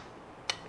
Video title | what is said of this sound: 무시무시하네 ! (마루이 SAIGA-12) | 철제 커버를 갖고 있어요. 그래서 소리가 지금 따그닥따그닥 철 소리가 나죠